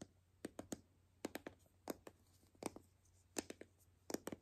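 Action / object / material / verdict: tap / hollow plastic toy capsule ball / plastic / none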